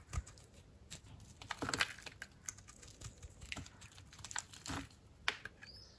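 A utility knife blade slices crunchy slabs off a dry, white-core soap bar with an orange glitter rind, held in the palm. Quiet, dry crunching and scraping is heard, broken by sharp, bright cracks and brief rustles as each piece breaks away.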